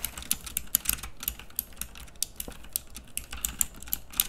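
Fingertips type continuously on the round keycaps of a pink plastic typewriter-style mechanical keyboard. About 23 sharp, bright clicks sound in quick, uneven succession, each dying away almost instantly over a faint low rumble.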